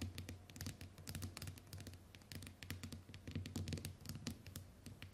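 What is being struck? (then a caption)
Smartphone glass screen. Long white nails scratch and tap rapidly on the glass screen of a small, flat smartphone lying on a wooden table. Crisp, bright clicks and scratchy strokes sit over a soft, low thudding body that swells and fades in uneven waves.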